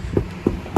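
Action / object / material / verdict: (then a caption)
knock / truck door panel with deadening mat and foam / sheet steel / dead. Three dull knocks on a truck door panel treated with Damplifier Pro deadening mat and Overkill foam during a speaker install. Each knock is a short, low thud that dies out almost at once, and the panel sounds dead and solid, as intended.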